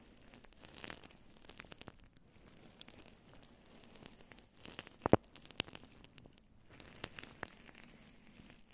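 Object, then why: Synthetic fur microphone windscreen. Long nails on both hands vigorously scratch a fluffy grey-white faux fur microphone windscreen up close. The result is a continuous soft, crackly rustle with many tiny clicks and a few sharper snaps near the middle.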